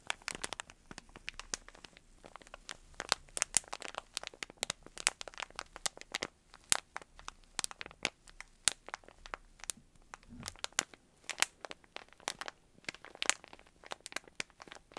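Fingertips squeeze and crinkle a small clear plastic bag of yarn pom-poms with a cardboard header, held close. Dense, bright crackles and sharp little snaps run continuously, with almost no low end, and each one dies away instantly.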